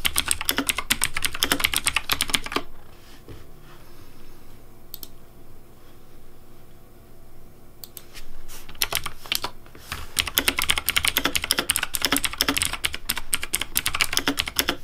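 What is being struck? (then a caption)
Plastic mechanical keyboard. Fingertips type on a pink Razer Deathadder V3 plastic mechanical keyboard with hollow plastic keycaps, giving quick, bright, clacky keystrokes. A burst of typing stops after about two and a half seconds, leaving a quiet low hum with a few stray clicks. Steady typing then resumes through the end.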